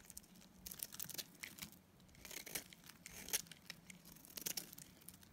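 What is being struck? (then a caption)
Dried soap bar. A palm-sized, solid green bar of dried soap is shaved with a metal utility-knife blade. It makes quiet, bright, crisp scraping and crumbling bursts that come in repeated strokes. Each stroke ends dry and short, with no ring.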